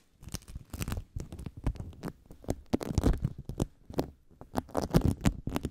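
A handful of soft, crackly yellow sticky bead foam is squeezed, pulled apart and rubbed with fingertips and nails. It makes a steady run of short, close-up crackles and sticky pops, heaviest in the low end, in uneven bursts.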